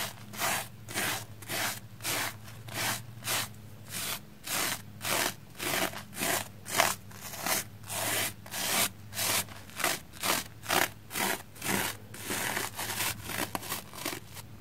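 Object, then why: Soapy plastic foam sponge. A small black spoolie brush scrubs back and forth across a soapy, red, porous plastic foam sponge block. It makes a rapid series of bright, crunchy, scratchy strokes at roughly two per second, each rising and fading quickly. A faint steady low hum sits underneath throughout.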